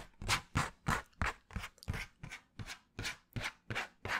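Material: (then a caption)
Cardboard. Fingernails scratch a flat piece of brown cardboard held in front of the microphone. A steady series of short, dry, rasping strokes follows at about three per second. Each stroke carries a low thump and a bright, papery scrape that cuts off quickly.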